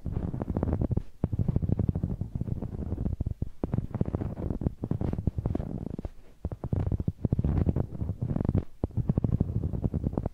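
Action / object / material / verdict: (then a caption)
scrape / rubber spiky massage ball / rubber / none. A large, hollow, blue knobbly rubber massage ball, held in one hand, has its bumpy surface rubbed and scratched against a small handheld microphone. The result is a dense, low, muffled rumble of rapid scraping thumps with almost no high end, coming in bursts separated by brief pauses.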